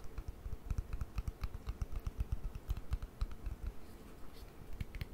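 A small white plastic cream jar is tapped and clicked with long nails on its side and lid. It gives a quick, irregular run of short, dry taps with a low, dull knock and faint bright clicks. Each tap dies away almost instantly.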